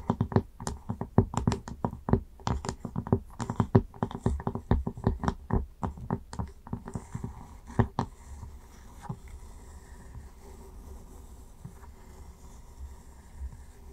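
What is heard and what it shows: Long nails tap and scratch the top of a round wooden lid on a candle jar. Quick, dry, short taps with a low, knocking body come in a dense, uneven patter for about eight seconds. The sound then thins to faint, soft scratching until the end.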